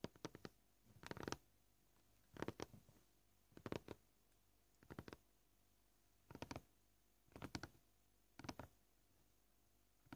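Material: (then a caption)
Plastic. Both hands with short painted nails tap a flat, scratched white plastic cutting board, a solid board, in short bursts of quick, dry clicks roughly every second. Each tap is crisp and dies out almost instantly, with quiet pauses between the clusters.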